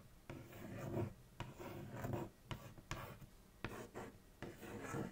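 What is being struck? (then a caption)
Cardboard cereal box. Long acrylic nails trace and scratch across the printed front of a large, thin, hollow Kellogg's Froot Loops cardboard cereal box lying flat. Soft, rasping scrapes with a low, hollow body tone are broken by eight sharp, quick nail contacts at uneven intervals. Each contact dies away almost at once.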